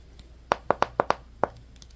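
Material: Glass.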